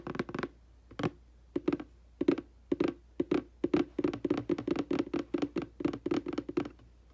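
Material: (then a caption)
Cardboard. Fingertips and long nails tap and pat on the front, then the back, of the same hollow, printed cardboard aquarium box. Short, dull, hollow taps with a low-mid body come in irregular bursts separated by brief pauses, growing denser and more continuous toward the end. Each tap dies away almost instantly, over a faint steady background hum.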